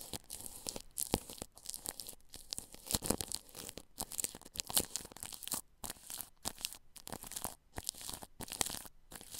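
A paintbrush brushes across plastic cling film wrapped over a ball microphone's grille. Close, bright crinkling and crackling swishes come in rapid, uneven strokes, with brief silent gaps between them.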